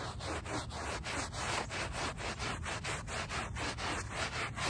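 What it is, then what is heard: Woven rug backing being scrubbed. A small handheld brush with a brown back scrubs the back of a small, wet, soapy, muddy woven rug lying on pavement. Quick back-and-forth strokes make a steady, rhythmic, bristly rasping with a bright, hissy texture and a soft low rumble underneath.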